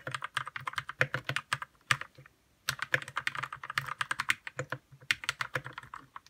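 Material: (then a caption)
Plastic. Fingertips type on a white RK61 60% mechanical keyboard with plastic keycaps, lubed red switches and a hollow plastic case. Around forty quick, sharp clacks come in fast bursts, bright and short with a faint low thump under each, and a brief pause of about half a second before the typing resumes.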